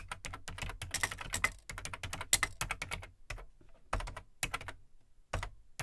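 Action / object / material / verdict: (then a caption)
tap / plastic computer keyboard / plastic / none. Fingertips type on the plastic keycaps of an Amstrad CPC 464 home computer, whose large, hollow black plastic case holds the keyboard. The result is a fast run of short, bright plastic clicks, each with a dull low thump from the case, broken by a few brief pauses before the typing picks up again.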